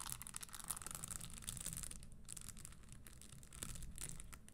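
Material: Leather.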